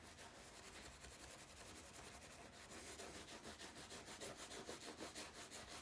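A solid steel golf iron head, held by its shaft, is scrubbed with a bristle cleaning brush through soapy foam. A steady, bright, hissing scrub repeats at about three strokes per second, with the strokes growing louder and more distinct in the second half.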